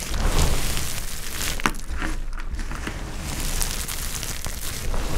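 Fingertips and nails scoop, squeeze and rub handfuls of brittle olive-green dry soap chips from a pile. Steady dry crumbling and crunching, with a dense low rumble of handling noise and scattered brief crisp crackles.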